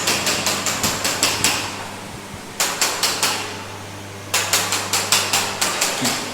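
Ceramic floor tiles are tapped one at a time to check whether any tile is hollow underneath. About 18 sharp, bright knocks come in three quick runs separated by short pauses, each with a brief ringing tail, over a steady low hum.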